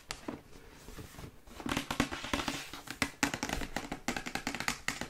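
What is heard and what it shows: Long white acrylic nails tap quickly on the sides of a glossy printed cardboard Yeti microphone box held in the hands. The sound is a stream of fast, dry clicks with a hollow, boxy tone and a bright edge, each tap dying away almost instantly. The tapping starts soft and scattered, then grows louder and more distinct after the first second and a half.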